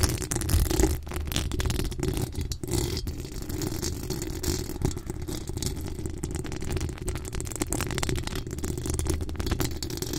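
Long acrylic nails on both hands scratch and tap the top of a decorated pink microphone's hollow metal mesh grille. The result is a dense, continuous rattling scrape with a heavy, booming low rumble and faint bright hiss on top, holding steady for the whole clip.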